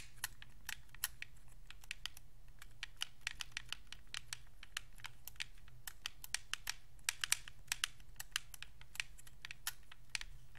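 Thumbs click the d-pad, sticks and face buttons of a white Xbox 360 controller made of hollow hard plastic. The result is a rapid, irregular stream of sharp, bright clicks that stop almost instantly, over a steady low background hum.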